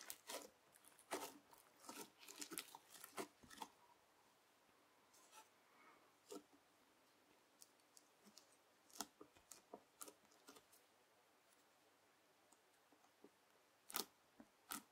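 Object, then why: Lump of bubbly slime pressed with a plastic knife. A lump of clear teal bubble slime is flattened and pressed with a yellow plastic knife held in the fingers. Irregular, crisp bright crackles and pops come in dense bursts at first, then thin out into scattered sharp clicks over quiet background.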